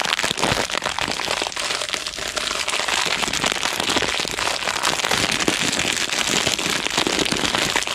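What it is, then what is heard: Plastic-wrapped tape roll. Fingertips squeeze and crinkle the thin clear plastic wrap still around a roll of white tape, held close to the microphone. A dense, continuous, bright crackling with many quick snaps holds at a steady level for the whole clip, with almost no low end.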